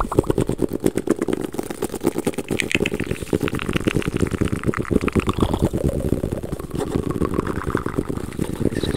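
A small closed hardcover book with a cream cloth-and-paper cover and a red spine is held upright close to the microphone and tapped and scratched on its cover with the fingertips. The result is a fast, steady stream of short, dull, low-pitched taps mixed with soft scratching that runs the whole clip.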